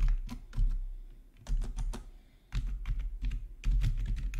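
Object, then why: Plastic computer keyboard. Fingertips type on a black plastic RGB backlit gaming keyboard, with single key presses made by the right index finger. Soft, low, thocky key clicks come in quick bursts separated by brief pauses, each tap fading fast.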